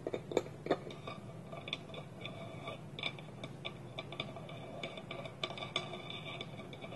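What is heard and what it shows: Fingertips and nails tap a small, round, hollow, polished wooden bowl, empty, with its wooden lid held tilted against it. A quick, uneven series of soft, dry taps and clicks follows, each with a short hollow wooden knock and a bright tick that dies away almost at once, with a few louder taps near the start.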